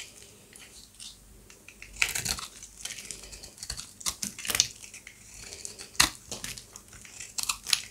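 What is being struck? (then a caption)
Bar of soap shaved with a serrated blade. A peach-colored rectangular bar of dry, solid soap is held in the palm and shaved with a serrated utility-knife blade. It makes crisp, high, scratchy scraping and crunching bursts with sharp peaks. Thin, brittle flakes break off the bar.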